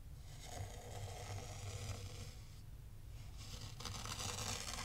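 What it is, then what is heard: Fine sand raked in a tray. A small black rake is pulled through fine white sand in a tray, scraping and combing it into ridges. The result is a steady, crisp, gritty scraping with a bright hiss over a low rumble. It eases briefly near the middle, then returns louder and brighter toward the end.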